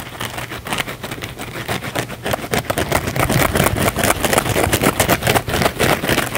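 A small blue cellulose kitchen sponge with a scouring pad, held in both hands, has its scouring-pad face scratched fast and aggressively with fingernails. It makes a dense, rough, rasping scratch with a bright hiss, growing louder and busier after the first couple of seconds.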